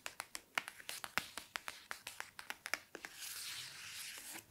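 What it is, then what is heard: Hardcover book. Fingertips and nails tap and scratch along the page edges of a hardcover copy of *The Bone Houses*, held in the hands, with a paper dust jacket. About twenty short, crisp, dry clicks come in a quick series. They give way to a steady, airy scratching rustle as the nails trace the cover, with faint speech in the background.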